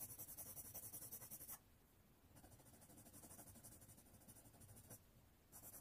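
A red colored pencil rubs rapidly back and forth across a thin white paper sheet resting on a wooden tray, held flat by one hand, while coloring in a flag shape. The soft, bright scratching strokes come in quick repeated bursts, fading quieter from about 1.6 to 2.3 seconds before building up again and growing louder near the end.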